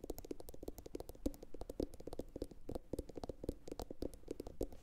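A medium, hollow, empty blue glossy ceramic bowl, turned upside down, is tapped rapidly with long pointed acrylic nails from both hands. The quick, clicky taps carry a hollow tone around 285 Hz and each dies away almost at once.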